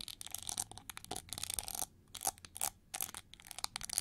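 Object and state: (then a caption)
Hollow chrome-plated plastic hair brush, scratched and tapped. Long nails scratch and tap along the ridged wing feathers of a hand-sized, hollow, shiny gold chrome-plated plastic hair brush sculpted like an eagle. The result is quiet, bright, crackly scratching with quick dry taps and little low end, broken by a couple of brief pauses.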